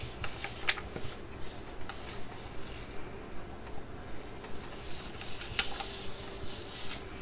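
A full, flat laminated foil Betterskin sheet-mask sachet is held and tapped and scratched with long nails. Soft, steady crinkly scratching and tapping repeat at an even pace over a low rumble, with a couple of sharper, bright clicks standing out.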